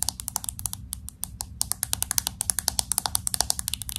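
Fingernails tap quickly on the glass back of a pink smartphone with an aluminum frame, moving around the camera bump. A rapid, uneven run of sharp, bright clicks with almost no ring sits over a faint low rumble.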